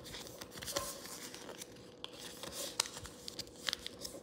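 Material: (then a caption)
Paper. Fingers open, fold and flatten a thin pink origami paper sheet, a folded crane base, on a table, creasing and rubbing it. The audio is a soft, bright papery rustle and rub, broken by sharp crinkles and crisp snaps as the creases are pressed. A faint steady hum sits underneath.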